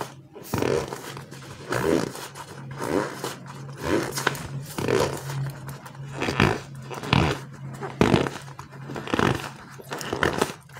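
Bare fingers and thumbs repeatedly squeeze and rub a palm-sized green and white frog squishy toy made of solid slow-rise polyurethane foam. Soft, rough squishing and rubbing swells rise and fade roughly once a second over a steady low hum.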